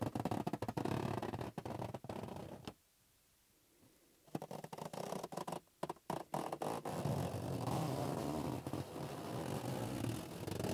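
A green, hollow, inflated latex balloon rests in one palm while the fingertips of the other hand tap and rub its surface, making dense, irregular, low, rubbery squeaks and scratchy friction. The sound drops to near silence for about a second and a half, then returns as sharp taps followed by steady, continuous rubbing.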